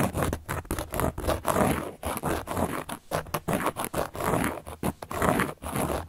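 A carving tool is scratched across a large, round, solid cork board in quick, repeated strokes. Each stroke gives a dry, rough scrape with a soft, low-mid texture, separated by brief pauses in a steady, uneven rhythm.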